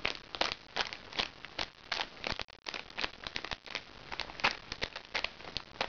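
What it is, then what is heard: Crinkly plastic makeup bag. A small, crinkly recycled plastic makeup bag is held upright while nails scratch and pinch its plastic surface. The result is a rapid series of bright, dry crinkles and crackles in short, sharp bursts, with almost no low end.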